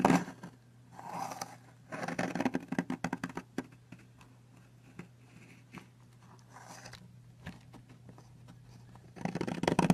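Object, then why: Soap bar and metal knife blade. A metal knife blade scrapes and carves along the edge of a long, solid blue soap bar, and crumbly flakes fall onto a white surface. Short bursts of dry crunching and scratching come in clusters, with a dense run of sharp scrapes early on. A quieter stretch of faint ticks follows before a loud rush of scraping at the end, all over a steady low hum.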